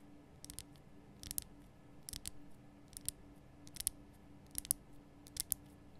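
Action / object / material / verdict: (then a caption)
tap / rock-salt lamp block / rock salt / none. Long nails tap the base sides of a large, lit pink Himalayan rock-salt lamp, a solid rough crystal block. Quick, bright, dry clicks come in small clusters and stop dead with no ring, over a faint low steady hum.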